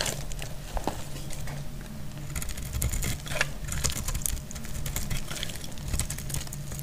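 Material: Soap.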